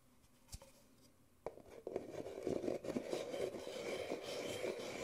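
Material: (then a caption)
Paper. An empty white disposable Nespresso paper coffee cup, small and hollow, is held in the hands and tapped and scratched along its printed side with fingertips and nails. A soft tap and then a sharper one are followed by steady dry scratching and quick tapping. The sound is a hollow papery rasp with a mid-range body and a bright edge.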